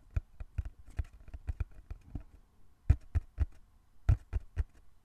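Fingertips tap slowly and rhythmically on a small, closed, hollow brown cardboard box held in both hands. The result is a series of dull, low thumps with very short decay, some taps louder than others, in a quiet space.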